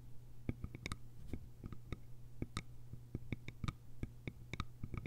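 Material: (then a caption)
Bamboo. Long nails tap and scratch the sides of a small, hollow, cylindrical bamboo container with a lid. The result is a quick, irregular string of short, dry, clicky taps with bright edges and almost no ring, over a steady low hum.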